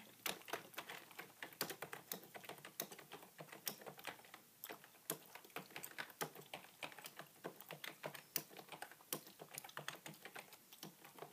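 A beige full-size plastic desktop keyboard with a hollow body, resting on a wooden table, is typed on continuously with the fingertips and short nails of both hands. Rapid, quiet key taps produce a steady stream of bright, clicky ticks with almost no ring and little low end.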